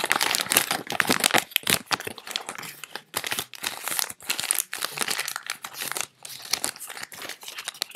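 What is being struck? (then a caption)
Paper banknotes. Fingertips crinkle, rub and flick through a small stack of thin, worn cotton-paper US dollar bills held in both hands while sorting them, with loose bills lying on a bed. The sound is a dense run of bright, dry paper crinkles and rustles with almost no low end, broken by a few brief pauses.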